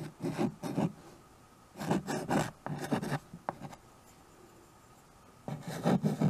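A small handheld chalkboard with a wooden frame is written on with white chalk held in the fingers. Bursts of dry, scratchy strokes rasp across the board surface, separated by short quiet pauses.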